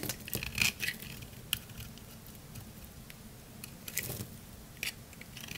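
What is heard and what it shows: A utility knife blade scrapes and shaves the face of a round, pale green, palm-sized solid dry soap bar into curls. It makes irregular, bright, crunchy crackling and scraping bursts, loudest near the start and again around the middle and near the end, with quieter, grainy scraping in between.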